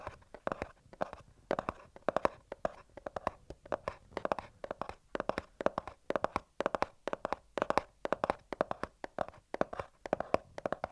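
A small white cardboard earbuds box is held upright while the fingertips and nails of both hands tap and scratch along its top edge. Dozens of quick, crisp, hollow taps with a mid-pitched papery tone sound in uneven clusters, each dying away almost instantly, with faint scratchy rustling between them.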